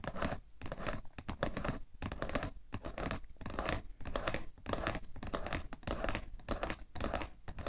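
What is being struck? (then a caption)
Cardboard tissue box. Fingernails rapidly tap and scratch the side panel of a cardboard tissue box in an uneven, busy rhythm. The taps are dry, dull and short, with most of their weight in the low end, mixed with rough scraping between them.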